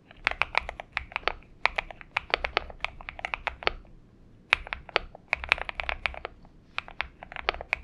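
A purple Xinmeng M71 mechanical keyboard with PBT keycaps is typed on with the fingertips of both hands, producing quick, bright, clacky keystrokes with almost no ring. The tapping runs in bursts with a brief pause near the middle before resuming.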